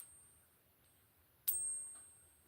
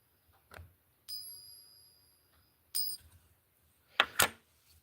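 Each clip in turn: First: One sharp ping leaves a thin, very high ring, the shrill note of a fake, non-silver coin. Second: A struck silver dollar gives a clear, high ring that hangs for over a second, as real silver should.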